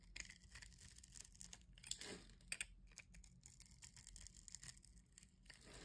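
A metal blade scrapes and slices a solid white bar of soap held in the hand, shaving it into fine crumbly pieces. The sound is a quiet, steady run of crisp, bright scraping and crunching bursts, with a louder crunch near the middle.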